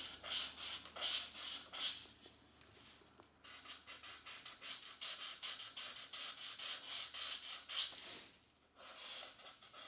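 A plastic felt-tip marker rubs and scratches across a mandala page in an open paperback coloring book lying flat, while the other hand rests on the opposite page. Repeated coloring strokes produce bright, airy scratching bursts in an uneven rhythm, with a brief quieter pause near the end before the strokes resume.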